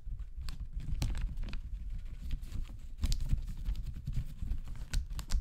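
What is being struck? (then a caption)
Paper toilet rolls in plastic wrap. Fingertips tap and press on a pack of soft, hollow-cored paper toilet rolls wrapped in a thin clear plastic bag, resting on a sink counter. A steady run of quick, soft, dull thumps, heavy in the low end, comes with faint bright crinkles of the plastic. Each tap stops at once with no ring.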